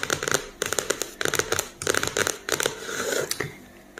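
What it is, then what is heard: Cardboard hardcover notebook. A medium spiral-bound notebook with a glossy printed cardboard hardcover (floral pattern, pink elastic band) lies closed and flat on a wooden table over a solid stack of paper. Fingertips and nails of both hands tap and lightly scratch the cover in quick bursts of dry, bright clicks with almost no ring. Soft scratchy rustles fill the gaps between bursts.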